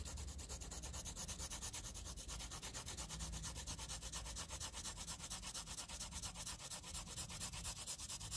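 A wooden graphite pencil scribbles rapidly back and forth over the shaded area of a flat graph paper sheet, making a scratching rub. The bright, hissy strokes come in a fast, steady rhythm over a low rumble and continue evenly for the whole clip.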